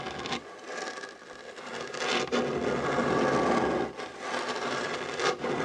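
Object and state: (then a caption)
Wooden tabletop scratched. Short nails and fingertips scratch across a solid, dark wooden tabletop beside a fabric heart coaster. The result is a dry, continuous rasping scrape, centred in the midrange with a bright edge, that swells and dips as the strokes change pace.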